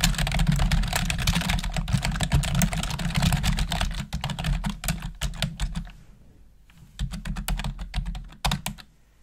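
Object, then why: Plastic computer keyboard. Long acrylic nails and fingertips type rapidly on a full-size black plastic computer keyboard with a hollow housing, giving quick, bright clicking taps over a steady low hum. The typing is dense for the first few seconds, thins into scattered keystrokes, pauses briefly, then returns in a short burst before trailing off.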